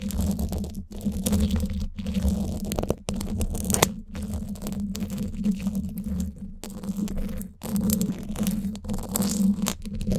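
Flat emery-board nail files held in both hands scrape across the top of the woven steel mesh dome grille of a hollow Blue Yeti microphone. The result is a continuous, low, rumbling scratch with a steady hum, broken by brief silent gaps between strokes.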